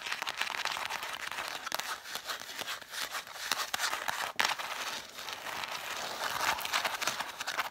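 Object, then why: Cloth-covered hardcover books tapped and scratched with fingernails. Long matte black nails tap and scratch quickly along the spines of a solid stack of six red cloth-covered vintage hardcover books. The spines face outward. The result is a dense, steady stream of dry, papery clicks and scraping rasps that is bright and thin with almost no low end, and each tap dies away almost at once.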